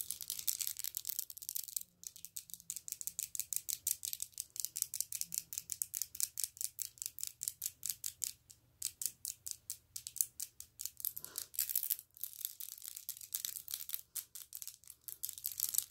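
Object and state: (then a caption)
Acrylic press-on nails. Long, bright green acrylic press-on nails, small, hard and hollow-tipped, are tapped and clicked against each other with the fingertips held close. A steady stream of dense, sharp, bright clicks with almost no low end repeats quickly throughout, broken by a few brief pauses.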